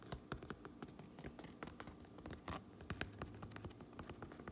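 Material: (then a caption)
Fabric. Long nails tap and scratch the red stitched brim and black front panel of a fabric trucker cap with a Uinta patch. The result is a quiet, steady run of short, dry taps with soft low thuds, mixed with brief scratchy rasps that stop almost instantly.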